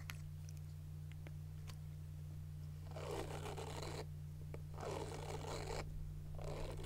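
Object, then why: Silicone and plastic face cleansing brush. Long nails scratch and tap a small round handheld silicone face cleansing brush with a white plastic back and a pink silicone bristle face. A few faint light taps come first, then three bursts of dry, bright, rustling scratching. A steady low hum runs underneath throughout.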